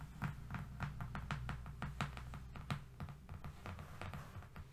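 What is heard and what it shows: Both hands tap and scratch fast with their fingernails on a long, thin, flat strip of brown corrugated cardboard lying on a fluffy rug. Quick, irregular, dry taps with short bright clicks sit over a low, dull rumble, and each tap dies away almost instantly.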